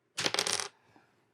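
A chunk of dense, close-grained rare hardwood is tapped or clicked, giving a quick cluster of bright, hard clicks with almost no ring. It sounds like plastic, which reflects how hard and dense the wood is.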